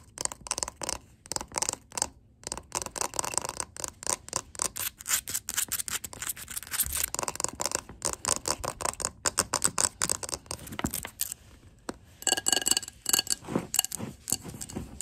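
Long glittery acrylic nails tap and scratch on a large glass jar candle full of white wax, first on its paper-labelled glass bottom and then on the glass side of the jar. Quick, dense, bright clicks and scratchy rubbing run throughout with almost no ring or low end, and a brief pause comes just before the final burst of tapping.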